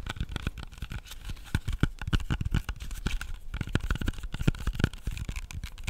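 Fingernails tap and scratch a whole, solid red-yellow apple as it is turned in the hands. The result is a dense run of soft, short, low-heavy taps mixed with light scratching, with faint bright crinkly edges and little ring after each hit.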